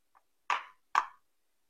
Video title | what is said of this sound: TIPS MEMILIH DURIAN LOKAL | seperti ada ruang kosong di dalam itu ya Ada ada celah di dalam itu suaranya Bu Bu Bu dan tidak e terdengar nyaring